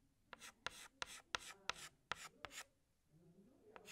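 Fingertips hold a green chalk stick and scratch it across a large flat black chalkboard while drawing leaves. Each stroke starts with a sharp tap followed by a short, bright, gritty scrape, in an uneven rhythm. The strokes pause near the end before a final tap and scrape.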